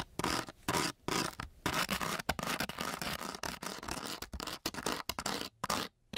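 The tip of a metal key is scraped back and forth over a flat, coarse-grit sandpaper sheet. It makes a series of harsh, gritty scratching strokes with brief silent pauses between them. The sound is broadband and bright, with a rough, rasping texture.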